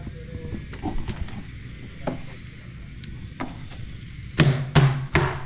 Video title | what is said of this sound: P3 - BOAT TOUR - PAG HATID NG MGA PINTURA | Ganda ng tunog ng fiberglass